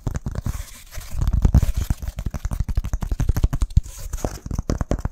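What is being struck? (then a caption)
Pressed wood-fiber firelighter block. Fingertips and nails rapidly tap and scratch a flat, solid, scored brown BBQ firelighter slab of pressed wood fiber. The result is a dense run of fast, dry, low thuds mixed with scratchy, crackling rasps, each cut off short with no ring.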